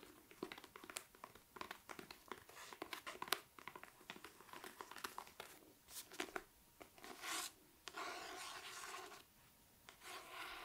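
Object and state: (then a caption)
Paperback book. A paperback copy of 'The One Hundred Years of Lenni and Margot' with a paper cover is held upright in one hand while long dark nails tap and trace across its cover and spine. Quick, dry taps and crisp scratching and rubbing strokes follow one another at a low level, with a few longer brushing passages near the end.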